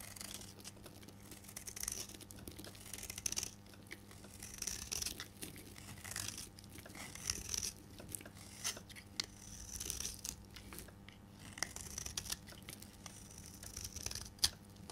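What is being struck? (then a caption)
Bar of soap shaved with a metal blade. A solid rectangular pink dry soap bar held in the hand is shaved with a metal blade, peeling off white curls. Repeated dry, bright scraping and crisp crunching strokes come in quick bursts over a faint steady low hum.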